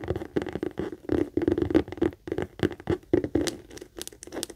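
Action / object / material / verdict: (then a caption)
tap / leather handbag / leather / none. Long acrylic nails rapidly tap and scratch on a medium pink saffiano leather handbag, a hollow bag with a stitched base and metal feet. Quick, irregular dry taps mix with scratchy rustling on the leather, each hit fading almost instantly, with a soft hollow body and little deep low end.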